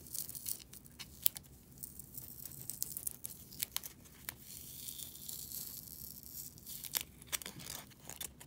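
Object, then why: Polystyrene foam packing peanut. Long dark-polished nails scratch and squeeze a single small, light, pink-white S-shaped polystyrene foam packing peanut held in one hand, while other loose peanuts lie untouched on the table behind it. Quiet, bright squeaky scratching and crinkling runs throughout, broken by many sharp, dry clicks and creaks that stop instantly with almost no ring.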